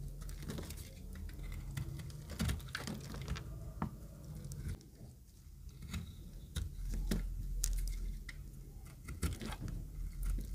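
A utility knife blade scrapes an oval, pink-green speckled solid dry soap bar. The scraping makes a steady run of short, dry crackling and crumbling ticks with some sharper bright clicks over a low, dull rumble. Each tick dies away quickly.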